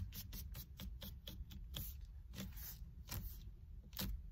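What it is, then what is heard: Leather-wrapped steering wheel. Long red nails and fingertips scratch and grip the black stitched leather or faux-leather cover of a solid car steering wheel rim. Quick, bright scratchy strokes repeat steadily over a constant low rumble, each stroke dying away almost at once.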